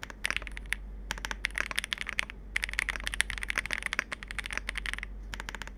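Both hands type continuously with their fingertips on a Capsule 65, a compact 65% mechanical keyboard with plastic keycaps. It gives dense, sharp, bright clacks centred around 2 kHz, with very short ring and brief pauses between bursts. A faint low hum sits underneath.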